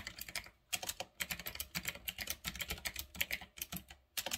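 Fingertips type on a full-size retro typewriter-style mechanical keyboard with round black plastic keycaps on a metal-look frame. Quick bursts of crisp, bright clicking keystrokes with very short decay are broken by brief pauses.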